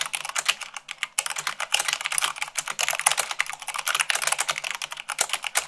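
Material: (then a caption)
Plastic. Long pink nails and fingertips type fast, about 98 words per minute, on a full-size mechanical keyboard with white plastic keycaps on a black frame. The result is a dense, continuous stream of sharp, bright clicks and clacks that cut off almost instantly, with almost no low end.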